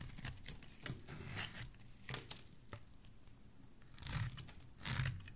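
A solid white curved soap bar held in the hand is shaved with a metal blade, peeling off white curls. Dry, bright scraping and crinkly shaving strokes come in bursts, with a few sharp clicks and a low rumble underneath.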